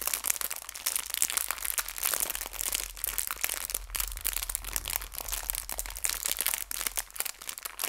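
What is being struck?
Clear plastic bag filled with hair ties.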